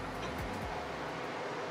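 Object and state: Nothing is struck.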